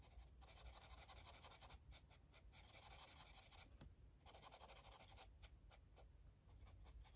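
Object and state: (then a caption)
Felt-tip marker coloring on paper. A felt-tip Sharpie marker, held at the fingertips, rubs and scratches over the page of an open paper coloring book lying flat on a table while coloring in small shapes. Quiet, bright, hissy scratching comes in longer back-and-forth stroke bursts and quick short dabs, over a soft low rumble.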